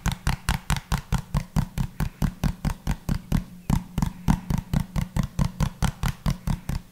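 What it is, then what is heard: Small plastic bottle. A small, hollow pink plastic bottle with a pink cap is held upright and tapped quickly with the fingertips close to the microphone. About thirty short, hollow, low-pitched thuds come in a steady, slightly uneven rhythm, each dying away almost at once with a faint bright click on top.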